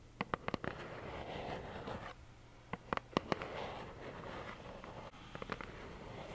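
Long nails scratch and tap a small, hollow plaid cardboard tissue box held in both hands. Three quick bursts of sharp, dry, hollow taps stand out over a soft, steady scratching rustle, each tap dying away almost at once.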